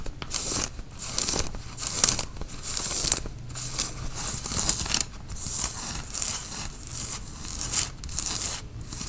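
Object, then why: Cotton t-shirt fabric. Fingernails scratch the sleeve and front of a worn grey tie-dye cotton t-shirt, and the shirt is also grasped at the shoulders. Repeated bursts of bright, dry, hissing fabric scratching come in strokes with brief quiet gaps between them.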